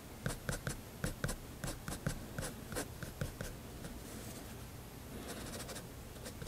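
A fineliner pen draws strokes on a spiral paper sketchbook page resting on a desk, sketching the dome area of a building. Quick, light scratches of the pen tip on paper come in a series of distinct ticks over the first few seconds. They then soften into a steadier, faint scratching with a bright hiss.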